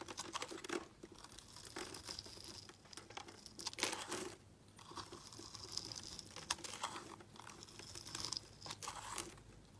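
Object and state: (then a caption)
Glycerin soap bar being scraped. A solid, translucent red glycerin soap bar held in the hand is scraped with a utility blade into flakes. Repeated crisp, bright scraping strokes crackle and crinkle over a quiet background, with short pauses between passes.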